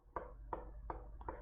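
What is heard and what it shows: A plastic chair is struck five times, with the last two blows close together, to show that it sounds different from a wooden table. Each hit is a short, dull, hollow knock centered in the midrange, with little brightness, that dies away quickly over a steady low hum. The result is a plain plastic sound.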